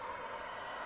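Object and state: Nothing is struck.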